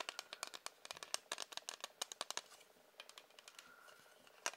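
Fingers tap rapidly on a hard plastic ruler, making quick, dry, bright clicks with almost no low end. The taps are most dense and sharp in the first half, then give way to softer, scattered ticks and faint scratchy contact before one last louder tap at the end.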